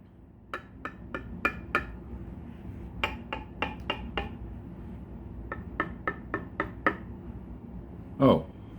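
Seventeen short, dry knocks from tapping the body of a solid-body guitar built from spaghetti and super glue during a tap tone test. The taps fall in three quick runs of five, five and six, each dying out almost at once with a faint low ring near 240 Hz. A louder, broader thump closes the clip.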